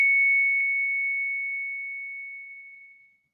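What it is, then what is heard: Bullion coin with a long clear ring. A bullion coin is given a ping test and answers with a long, clear, pure ring at about 2.2 kHz. The single high tone holds steady and fades slowly over about three seconds, a nice ring.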